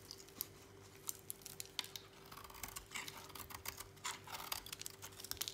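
A utility knife blade scrapes and cuts shavings from the edge of a thinned, dry, solid lilac soap bar held in a hand. Crisp, bright scratches and sharp little clicks crackle in quick, uneven bursts over a faint steady low hum. The result is a dry, crumbly shaving sound that stays quiet and close throughout.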